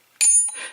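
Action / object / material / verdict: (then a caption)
tap / steel crankshaft timing gear / steel / none. A metal crankshaft timing gear from a VW engine is tapped once in a ring test and gives a bright, high-pitched ring that lasts about a fifth of a second, followed by a softer, duller rattle. The gear rings as a normal one should.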